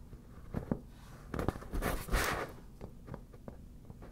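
Long black natural nails lightly tap and scratch the taut, glossy surface of a fully inflated, hollow, air-filled yellow smiley-face PVC vinyl beach ball. Soft, dull taps with a slight hollow thump are spread across the clip, with a louder, bright scratchy swish of nails dragging over the vinyl in the middle.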